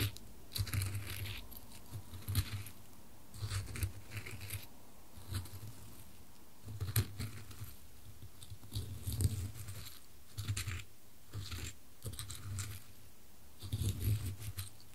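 Small dry wood chips in a wooden bowl are stirred and scooped with a wooden spoon while a gloved hand holds the bowl. Short bursts of dry rustling and crisp clattering over a soft low thump come in repeated strokes separated by brief quiet pauses.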